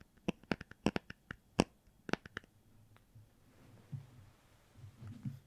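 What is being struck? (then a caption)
Hardcover book with cardboard cover. About a dozen crisp, sharp taps land on the cardboard cover of a hardcover children's book, possibly a Star Wars one, in a quick uneven rhythm, each click dying away almost instantly. The tapping then gives way to a quieter, low rustling and scratching on the book, and the taps sound clean and pleasant.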